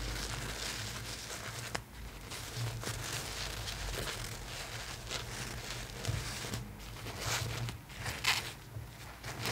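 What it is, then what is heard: Satin doll dress being scratched. Long painted nails scratch and rub the shiny purple satin puff sleeves and shoulders of a dress on a large plastic Rapunzel styling doll, with the fabric resting over the hollow plastic torso. Steady, close crinkly scratching and rustling carry on throughout, with brighter scrapes and a low hum underneath.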